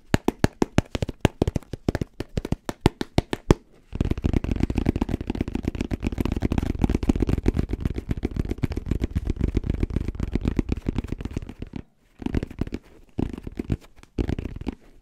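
Fingertips tap and scratch the shell of a black, rounded, fabric-covered hard-shell headphone case held in both hands. Quick, separate dry taps give way to a dense, rapid stream of tapping and scratching for about eight seconds, then end in a few short bursts. The sound is low and dull, and each tap stops with almost no ring.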